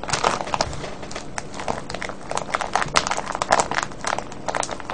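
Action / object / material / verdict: shake / plastic cellophane bag of foil-wrapped candies / plastic film / none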